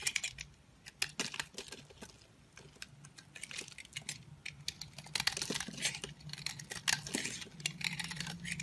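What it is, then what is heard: Bar soap being shaved. A solid peach Essense&Co bar soap, held in the hand, is shaved with a green-handled utility knife, sending flakes and curls onto a pile. The cutting makes a dense run of crisp, bright scraping crackles and quick dry ticks. A faint low hum sits underneath.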